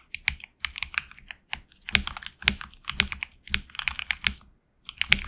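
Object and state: Mechanical keyboard with PBT keycaps.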